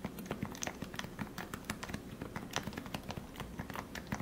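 Fingertips type steadily on a lubricated Leopold FC660C Topre keyboard with 45g switches and plastic keycaps. It produces a quick, even run of soft, muted, low thocks with faint brighter clicks on top. Each keystroke dies away almost instantly.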